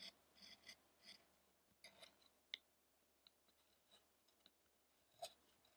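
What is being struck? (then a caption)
Carved wooden statue worked with a chisel. A chisel scrapes and cuts the surface of a solid light wood carving of an ascetic Shakyamuni Buddha, with the statue steadied by one hand. About ten quiet, crisp, bright cutting and scraping strokes are heard, each short and dry with almost no ring.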